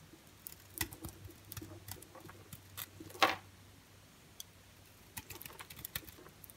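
A partly carved-away orange and white striped bar soap is cut and scraped with a utility knife blade. Quiet, dry crackling ticks and short scratches are heard, with one louder, brighter scrape midway through, each sound dying away almost at once.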